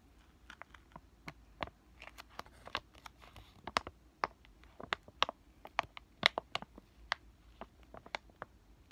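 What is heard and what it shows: A flat, green, laminated plastic-foil sheet mask sachet is crinkled and scratched with fingertips and short nails. The result is a quiet, dry series of about seventeen sharp, bright crinkles and ticks spread over nine seconds, with soft rustling between them.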